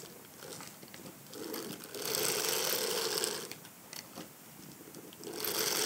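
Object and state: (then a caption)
Hard-shell clutch purse being scratched. A black silicone bristle brush is scrubbed and scratched over the back and side of a small, hollow, egg-shaped hard-shell evening clutch purse covered in cream shimmery textured faux leather with a silver metal frame. It makes a bright, dry, scratchy rasp with a hollow mid-pitched tone underneath, swelling into louder sustained scrubbing in the middle and again at the end.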